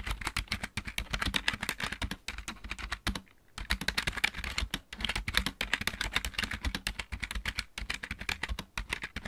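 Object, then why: Plastic mechanical computer keyboard. Fingertips of both hands type steadily on a backlit plastic computer keyboard with mechanical keys. The result is a rapid stream of short, sharp, bright clicks with a low thud under each keystroke, and brief pauses around three and five seconds.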